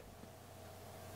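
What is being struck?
Nothing is struck.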